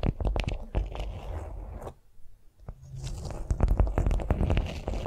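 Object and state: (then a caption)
Beeswax-coated cotton food wrap. Long nails tap and scratch a flat beeswax-coated cotton food wrap lying on a vinyl mat, making quick, irregular crinkly taps with a low, dull thump beneath them. The tapping pauses into near silence for about a second in the middle, then resumes as a busier flurry of sharp, bright clicks and scrapes.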